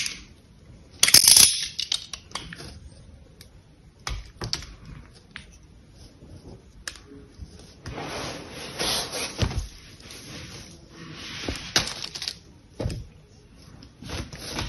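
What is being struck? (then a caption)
Soap bar. An orange utility knife blade shaves and scrapes the surface of a palm-sized, solid cream-colored bar of soap held in one hand, with the shavings falling onto a blue cloth. Irregular, dry, bright scraping strokes and crisp little cuts come through, with a louder harsh scrape early on and quieter rasping between them.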